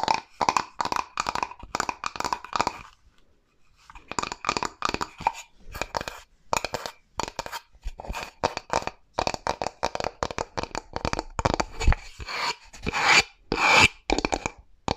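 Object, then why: Flat bamboo wooden board. Long nails scratch along the grain of a flat, rectangular, light bamboo board and tap on it, making a raspy, dry sound. Quick bursts of scratching and tapping come in rapid runs with a short pause near the start, each stroke bright and clipped with almost no ring.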